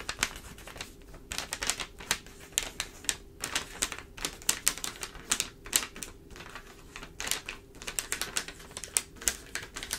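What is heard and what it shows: Long, pointed, dark acrylic nails tap rapidly on the pages of an open newsprint newspaper spread flat on a table, with its thin, layered paper under one tapping hand while the other hand rests flat. The result is a quick, uneven run of crisp, bright, clicky taps, almost like a typewriter, with a faint papery rustle between them. The taps are mostly high in pitch with very little low end, and each one dies away almost instantly.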